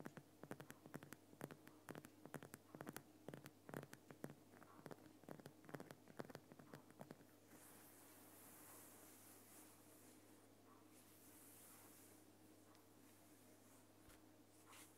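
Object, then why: Rock salt lamp. Fingernails scratch the rough sides of a large, solid, lit Himalayan rock salt lamp, making a quick run of sharp, dry scrapes and clicks for about seven seconds. A hand then rubs over the top of the lamp, giving a softer, continuous brushing hiss with bright swells, while a faint steady low hum sits underneath throughout.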